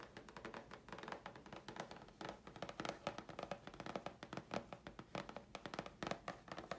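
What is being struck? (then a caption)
Thin chipboard sheet. Long fingernails tap rapidly on a thin, flat grey chipboard sheet held in the hands. The result is a dense run of short, dry clicks and taps with a slight scratchy texture and a papery mid-range tone around 570 Hz. Each tap dies away almost at once.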